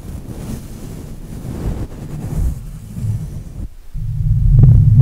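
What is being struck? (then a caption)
Metal mesh microphone grille. Fingertips of both hands rub and brush the hollow black metal mesh grille of a Blue Yeti microphone. The result is a continuous, muffled low rumble with almost nothing bright in it, briefly dropping out just before four seconds and then returning louder and fuller toward the end.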